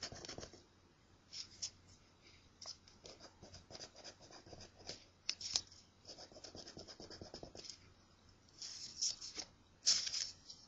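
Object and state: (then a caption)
Paper scratch-off ticket being scratched. A coin scratches a thin, flat, solid paper scratch-off crossword lottery ticket. Quiet, bright, dry rasping strokes come in short bursts and runs, with a few sharper, louder scrapes toward the end over a faint steady low hum.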